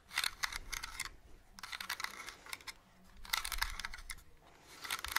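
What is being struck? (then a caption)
Small hollow plastic toy lantern. A small, hollow, hand-sized purple plastic Halloween lantern with a witch cutout is tapped and scratched along its sides by long nails close to the mic. Quick, bright clicky taps come in bursts, separated by softer, quieter scratching.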